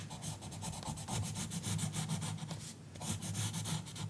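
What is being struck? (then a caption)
Colored pencil on a paper coloring book page. A green colored pencil makes rapid, scratchy back-and-forth coloring strokes on a page of an open paper coloring book lying flat on a counter, while long fingernails on the left hand rest on the page. The strokes produce a steady stream of dry, papery rubbing with a bright, hissy edge over a low, soft rumble, briefly easing off near the end before picking back up.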